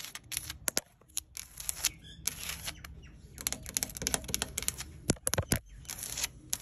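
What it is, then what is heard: Weathered wooden deck boards. Long acrylic nails tap and scratch solid grey weathered outdoor timber deck boards with screw heads, with fingertips also resting on the wood. Sharp, bright clicks come in quick, irregular bursts between dry, scratchy rasps. Each tap stops almost instantly with no ring.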